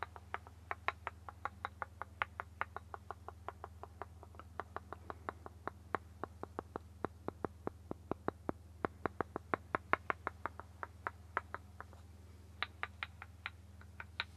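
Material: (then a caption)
Wood. A small, solid, light-wood cube held in the hand is tapped repeatedly with the end of a turned wooden stick. About 67 crisp, dry taps in quick, uneven runs ring around 1 kHz with bright tops and die away almost instantly. A steady low hum runs underneath throughout.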